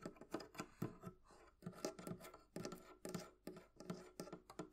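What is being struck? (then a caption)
Small metal latch on a wooden barrel chest. Long painted nails tap and scratch a small antique-style metal hasp latch on the front of a hollow wooden barrel-shaped chest. The result is a quick, quiet run of dry, clicky taps with brief scratchy rubs between them. The taps carry a low, hollow thud from the chest and fade almost at once.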